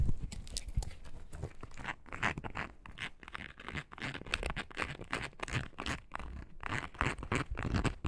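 A small, hollow, light-blue foam rubber clog, a toy-sized bird foraging shoe, is held in the hands while long nails rapidly scratch and tap its ridged sole. The result is a dense run of short, dry scratches and soft crunchy taps, mostly low in tone with brief bright edges.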